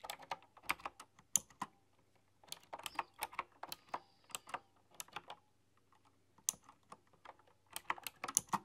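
Both hands with long painted nails type on a retro, typewriter-style mechanical keyboard with round chrome-rimmed keycaps. Bursts of sharp, bright clicks and clacks come in quick flurries, with brief pauses between, and each key strike dies away almost instantly.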